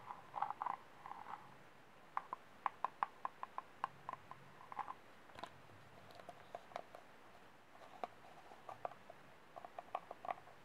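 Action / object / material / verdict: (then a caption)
tap / small disposable plastic cup / plastic / none. Fingertips and short manicured nails tap the ribbed sides and base of a small, empty, hollow disposable white plastic cup held in both hands and turned bottom-up. The result is a quiet series of short, dry taps, some in quick clusters and some spaced apart, each with a faint hollow ring around 1 kHz that dies away almost at once.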